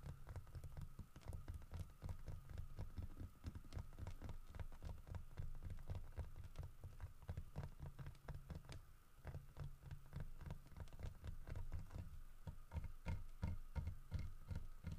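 Fingertips and nails tap rapidly on the head and body of a large, solid carved wooden bear figurine holding a fish, while the figure is turned slightly in the hands. The result is a dense, continuous run of short, dull, low knocks that die away almost instantly, over a faint steady background tone.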